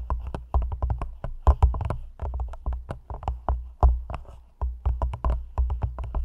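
Long nails tap rapidly on the sides of an empty, hollow, thin clear plastic cup held over the mic. The taps come in quick, uneven bursts, each a dull, boomy knock with a low hollow thump and a little bright click, and they die away almost at once.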